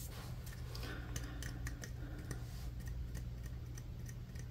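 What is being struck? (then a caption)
Wooden paintbrush handle. Fingertips and nails tap along a long, thin, solid wooden paintbrush handle with a metal ferrule. The taps are quiet, short, dry ticks that die away almost instantly, spread irregularly across the clip over a steady low hum.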